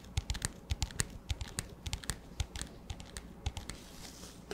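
An empty, clear, hollow plastic disposable cup with a black lid is tapped with fingertips and nails in quick, irregular bursts. About two dozen short, dry hits each pair a soft low thump with a bright plasticky click and die away almost instantly over a faint background hiss.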